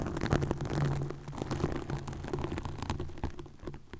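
Long nails scratch a green plastic mesh net covering a microphone, producing a dense, continuous stream of close, crackly scratches and rapid ticks. The sound is heavy in low, muffled rumble with brief brighter clicks scattered throughout, and it stays fairly steady in level over about four seconds.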